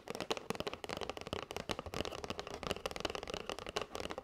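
Long white nails tap quickly on a flat kraft cardboard box with a clear plastic window, full of paper straws. It makes a fast, steady run of dry, crisp clicks with a hollow mid-toned knock and bright edges. Each tap dies away almost instantly.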